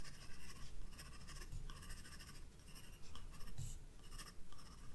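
A graphite pencil shades a vase with quick strokes on a white paper page of a spiral-bound sketchbook. Soft, bright scratching comes in short bursts of strokes over a steady low rumble, quiet overall.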